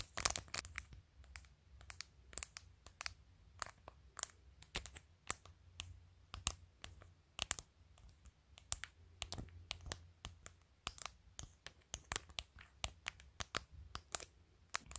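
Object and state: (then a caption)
Acrylic nails tapping a plastic phone case. Long nails tap and scratch on a phone in a clear plastic case covered with acrylic press-on nails, clicking near the camera lens and along the top edge. Quick, sharp, bright clicks come in an irregular stream with almost no ring. A faint low hum runs underneath throughout.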